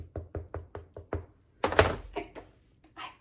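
A freshly baked spelt-flour baguette, right out of the oven, is tapped six times, giving short, dull, hollow knocks with almost no ring, followed by a louder, brief broadband noise and a few softer sounds. The bread is judged hollow, meaning it is baked through, and it seems more properly cooked than an earlier attempt.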